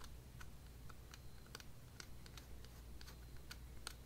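Long dark nails tap rapidly on a small yellow hollow vinyl figure held in the hands, making quick, dry, bright clicks that sound like typing. The taps come at an uneven pace with almost no ring, over a quiet, steady low hum.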